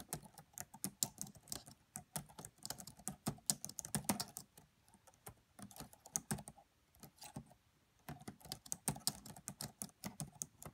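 Steady typing with long nails and fingertips tapping on the black plastic keys of a red laptop's plastic keyboard. Quick, bright clicks with a dull lower thump run in dense bursts, with brief pauses around the middle and just before the end, then the typing picks back up. Each tap stops almost instantly, with no ring.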